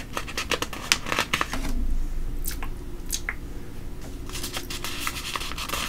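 A flat palm and fingertips rub across the printed pages of a thin glossy paper coupon and ad booklet lying open on a table, with some handling of the pages. Irregular, bright, crinkly scratches and rustles come in quick bursts over a low, steady background hum.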